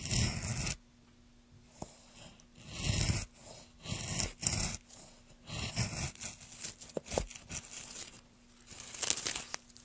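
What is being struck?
Wooden plank.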